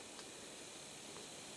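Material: Nothing is struck.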